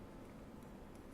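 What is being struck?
Nothing is struck.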